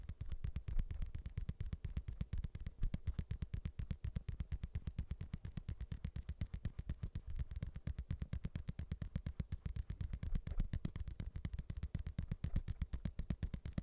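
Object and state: Boxing glove being tapped.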